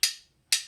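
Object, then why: Metal spoons. Two spoons are knocked together as a percussion instrument, giving two separate bright, sharp clicks. Each click is high-pitched and fades quickly with almost no low end.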